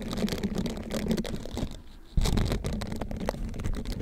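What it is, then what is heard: Silicone scrubber sponge. A hand-sized, flexible green silicone bristled scrubber is bent with both hands and wrapped over the mic while fingertips rub and scratch its bristles. This makes a dense, low, muffled crackling and rustling. The sound dips quiet for a moment and then returns abruptly louder.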